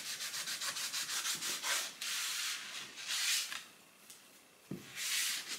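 A cloth held in the fingers rubs and wipes the inside of an empty, long, shallow, rectangular wooden serving tray with raised sides on a countertop, while one hand steadies the rim. Quick, rhythmic, bright scratchy strokes give way to longer hissing swipes. After a quieter pause, a soft low knock comes before a final swipe.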